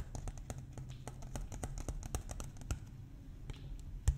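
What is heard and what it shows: A large, empty, clear PET plastic water bottle with a blue cap, hollow and held in one hand, is tapped and scratched with fingertips and nails along its ridged side. About two dozen quick, dry clicks and taps sound over a low, steady rumble. Each short tick carries a faint bright edge.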